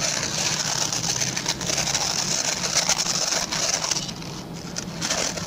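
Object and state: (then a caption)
Plastic bristle brush being scratched. Fingertips and short nails rapidly scratch the plastic pin bristles of a hand-sized oval white plastic brush. The result is a dense, continuous bright scratching hiss, with most of its energy in the high range and little low end. It holds steady for about three and a half seconds, then grows softer and thinner before a brief final burst.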